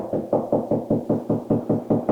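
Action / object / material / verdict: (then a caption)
knock / drywall wall / drywall / hollow. A knuckle knocks 11 times in a steady rhythm along a drywall bathroom wall, producing short, deep, hollow-sounding thuds with a midrange tone and quick decay. The knocks reveal a hollow spot between studs, with the stud right next to it.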